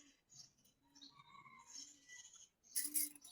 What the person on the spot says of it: ঝনঝন শব্দটা কিন্তু খুবই ভালো লাগে